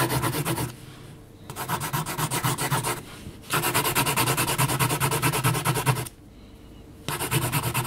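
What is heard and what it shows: A yellow HB graphite pencil makes dense hatching strokes on a flat sheet of heavy mixed-media paper while the hand rests on the sheet, its tip scratching the paper. Rapid, rhythmic raspy strokes come in bursts, broken by three short, quieter pauses.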